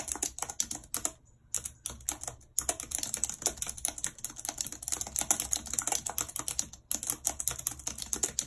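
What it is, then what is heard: Plastic computer keyboard being typed on. Long red acrylic nails tap the hollow plastic keys of a full-size white plastic computer keyboard with a numpad, resting on a map-printed surface, in fast typing. The result is a dense run of bright, sharp clicks with almost no low end, each dying out almost instantly. Brief pauses break the clicking near the 1.5-second mark and just before 7 seconds.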